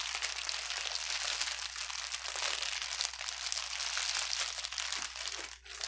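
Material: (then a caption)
Plastic. A bundle of clear plastic air-bubble wrap with empty, hollow air cells, resting on a table, is pressed, crumpled and rubbed with fingertips and palm. It makes a dense, continuous bright crinkling and crackling that hardly lets up, with a brief dip just before the end.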